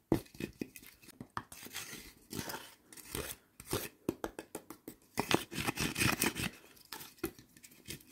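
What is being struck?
Split firewood logs.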